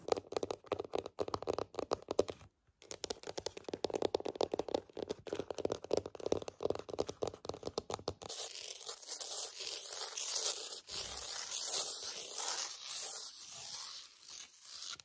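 Long acrylic nails tap and scratch across a flat, solid wood-look laminate floorboard with a wood-grain pattern. For about eight seconds there is a dense run of quick, dry clicking taps with a mid-range body, broken by a brief pause near the start. The sound then shifts to a steady, bright, hissing scratch across the surface.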